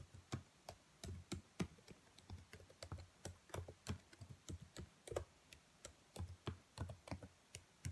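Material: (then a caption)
Plastic. Long nails tap rapidly and irregularly on the black plastic keys of a dark laptop keyboard. Each tap gives a short, dry click with a soft low thump and a bright tick on top, fading almost instantly between hits.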